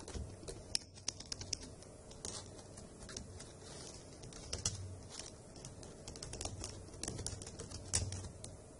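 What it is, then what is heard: Plastic laptop keyboard being typed on. Long acrylic nails and fingertips type on the hollow caps of a dark grey plastic laptop keyboard, giving quiet, irregular clicky taps with bright, sharp tips over a low, soft rumble. The brief clicks die away at once, with the faint background noise steady throughout.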